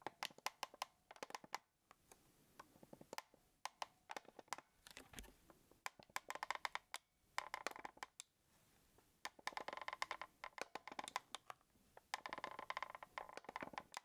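A small black plastic Sony camcorder with a hollow body is held up while fingertips tap and click rapidly on its plastic shell. The result is a dense run of short, dry, woody knocks with a bright click edge, centered around 1 kHz, in bursts separated by brief pauses.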